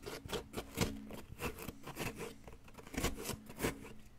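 A wooden pick scrapes at a solid yellow plaster excavation block, digging around the bar embedded in it. It makes a steady run of short, dry, gritty scraping strokes with bright crumbly edges over a low hum, each stroke fading almost at once.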